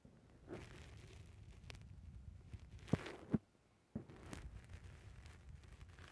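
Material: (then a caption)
Foam. Fingertips push down on a black rounded foam windscreen on a microphone, squishing the soft foam. The result is quiet, muffled, low rustling and crunching, with two sharper thumps near the middle. A brief near-silent pause follows before the squishing resumes.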